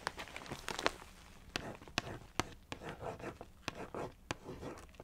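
Long nails scratch and trace along the narrow side of a Weetabix cardboard cereal box. Soft, dry scratching and rasping swells and fades between sharp, bright clicks where the nails strike the cardboard. The recording is quiet and close.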